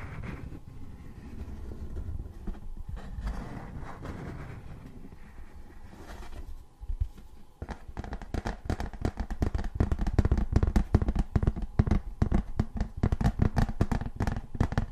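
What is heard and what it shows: Fingernails tap and scratch the raised letters of a thin, embossed tin novelty license plate held in both hands. The first half is a soft, continuous scratching rustle, then it breaks into rapid, irregular fast tapping with short, dry clicks that carry a low, thumping body.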